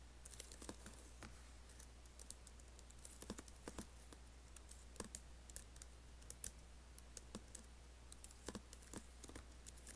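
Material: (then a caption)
Plastic. Fingertips and nails type and tap on an Apple laptop keyboard with black plastic keys and an aluminium body. The result is a steady stream of soft, quick, bright clicks over a low constant hum. Each click dies away almost instantly.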